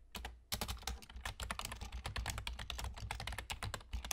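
Fingertips with short nails of both hands type rapidly on a full-size black plastic computer keyboard with German key labels and hollow keys. After a softer opening half-second, a dense, continuous stream of sharp, bright clicks follows, each dying away almost instantly over a steady low hum.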